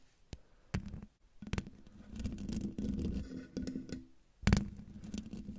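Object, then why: Metal mesh microphone grille. Long painted nails of both hands scratch up and down in a steady motion over the hollow metal mesh grille of a silver microphone. The result is a low, muffled rasping and scraping with a droning tone around 190 Hz, broken by sharper scratchy bursts, the loudest near the end.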